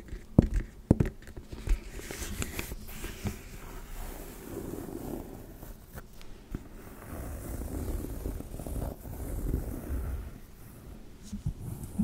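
Long red nails tap and scratch the flap and side panel of a small black pebbled-leather handbag with a gold clasp, held close to the mic. Sharp taps stand out in the first two seconds, then give way to a steady, low, soft scratching texture that rises and falls through the rest of the clip.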